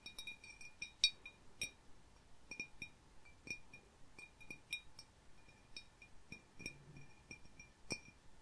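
Fingertips and medium-length painted nails tap and click along the sides and wavy, fluted rim of a small, clear, hollow, empty glass bowl held in both hands. The result is an irregular series of quiet, bright glassy clinks and clicks, each with a brief high ring that dies away almost at once.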